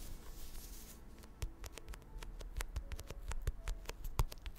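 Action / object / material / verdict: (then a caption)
tap / paperback book with glossy cardboard cover / paper, card / none. Long acrylic nails tap and scratch the thin glossy card front cover of a medium purple paperback book held upright, its solid paper block behind the cover. A soft, bright scratching opens the clip, then a string of sharp, dry, irregular taps follows, each clicking briefly with almost no ring over a low, quiet background.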